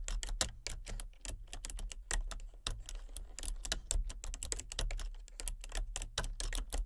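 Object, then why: Plastic computer keyboard. Fingertips and painted nails type rapidly on a full-size plastic computer keyboard with a colour-changing backlight. Dense, short, bright clicks of the keys fall over a steady low hum.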